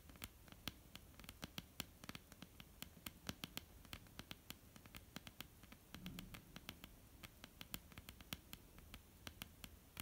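Long almond-shaped painted nails tap and scratch across a flat solid wooden tabletop. Sharp, bright clicks come in a rapid, irregular stream over a soft scratching hiss and a low, quiet rumble. Each tap dies away almost instantly.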